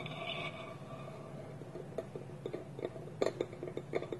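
Fingertips and nails tap the side of a small, polished, hollow wooden bowl with a wooden lid held against it, giving a series of short, dry, clicky knocks with a woody midrange tone around 400 Hz. The first two seconds hold only a faint steady hum, then the taps come irregularly and die away almost instantly, with no ring.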